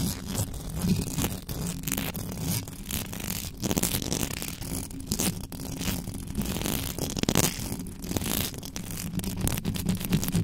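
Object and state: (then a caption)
Metal mesh microphone grille being scratched. Long acrylic nails on both hands scratch and tap quickly across the bare metal mesh head of a black desktop microphone. The result is a dense, continuous stream of scraping and clicking with a heavy low-end rumble and bright, crackly edges, without pause.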